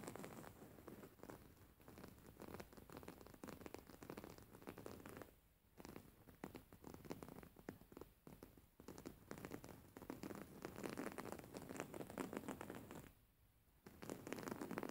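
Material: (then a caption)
Cotton fabric. A white cotton cushion with flower embroidery is held upright while fingernails scratch and grip its top edge. Soft, dense scratching and rustling runs almost continuously, with brief quiet pauses near 5.5 and 13.5 seconds.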